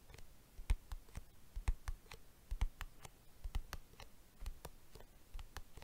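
Fingertips of the right hand tap and drum on the lid of a small, hollow, closed silver-white hard plastic box or case, held in the left hand in front of a microphone. The result is a quiet, irregular series of short, sharp clicky taps with a dull low thump under each, dying away almost instantly.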